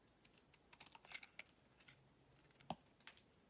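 A utility knife blade scrapes and cuts thin curls from a solid oval green bar of soap held in the palm. The sound is a quiet, irregular series of short, crisp, bright scratches and clicks, with one sharper snap near the end. Each cut dies away almost at once.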